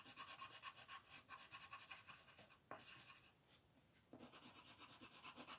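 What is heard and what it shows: A colored pencil rubs and scratches across a flat white paper sheet printed with a mandala while coloring it in, and partway through the yellow pencil is swapped for a green one. Quick back-and-forth strokes make a bright, dry scratchy rasp with little low end. The strokes thin out into a quieter stretch around the middle before the steady rubbing resumes.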